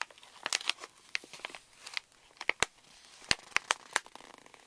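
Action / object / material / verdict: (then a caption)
tap / plastic foil laminate pouch / plastic foil / none. Fingertips and nails tap and scratch the crinkly surface of a pink Reese's candy pouch made of plastic foil laminate resting on a table. Bright, dry crinkling and crackling fill the clip, punctuated by sharp, very short clicks that die away instantly, with almost no low end.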